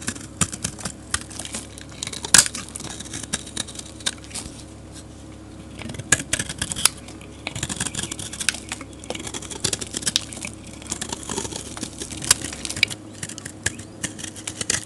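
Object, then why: Bar of soap scraped with a metal blade. A metal utility blade scrapes a solid, dark grey rectangular soap bar, curling up flakes. The result is a steady run of bright, crisp scraping and crackling bursts with sharp clicks and quick, dry ticks that stop almost instantly, over a faint low hum.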